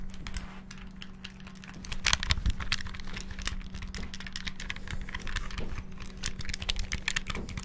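Fingertips rapidly press the buttons of a small, hollow, clear transparent plastic Game Boy handheld game console held close to the mic. The result is a dense stream of quick, bright plastic clicks and taps over a steady low hum, growing busier partway through.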